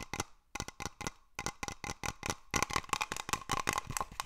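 A small hollow glass cloche dome over a terrarium, held in both hands, is tapped and scratched with fingernails. Quick, irregular bursts of sharp, bright clicks are heard, with a faint glassy tone near 1 kHz and scratchy hiss between taps. Each tap dies away almost instantly.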